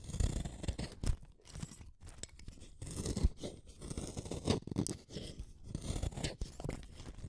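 A small, solid, dark-tipped wooden colored pencil is shaved with a utility knife blade. Repeated short scraping strokes make dry, crunchy rasps with a low body and brief bright edges, and some strokes come through louder than others.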